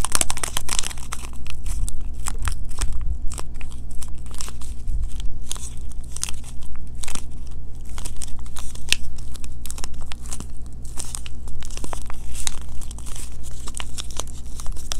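Long fingernails rapidly tap and scratch a small green printed cardboard box with a bar of soap inside, held in the hands. The result is a dense, continuous stream of sharp, dry crinkling taps and scrapes that stop almost instantly, over a steady low hum.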